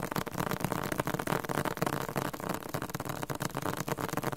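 Fingertips tap rapidly on the glossy paper softcover of a thick, solid, yellow-green Spanish-Korean dictionary. The dense, irregular stream of soft, dull taps has a low papery thump and almost no ring after each strike.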